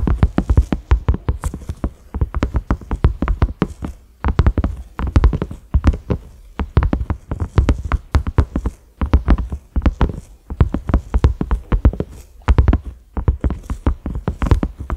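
Both hands tap a large round cream silicone lid with concentric ridges and a grey center knob, which lies flat on a dark surface. The fingertips and nails strike in fast bursts, giving dense, dull, low thuds with very short decay and brief pauses between flurries.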